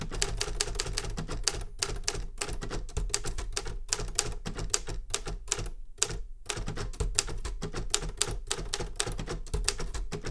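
Both hands tap the keys of a metal Remington Super Riter manual typewriter, steel body with paper loaded, in steady fingertip typing. Dense, sharp clacks carry bright metallic snaps over a heavy low thump from the body, with a brief pause near the middle before typing resumes.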